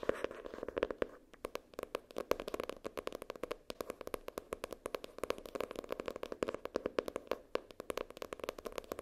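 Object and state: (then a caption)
Paper-covered notebook. Long nails tap and scratch the floral-printed paper or cardboard cover of a notebook lying flat. Rapid, dense, dry clicks come with a papery scratch, with a mid-range tone near 500 Hz and little bass. Each tap dies away almost instantly.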